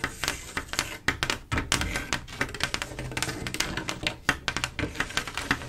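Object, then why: Mirror glass mosaic tile panel. Long acrylic nails tap one at a time across a flat panel of silver mirror-glass mosaic tiles set in grout. The result is an uneven run of sharp, bright, glassy clicks with a tone near 1.9 kHz that stop almost instantly. Faint music may be playing in the background.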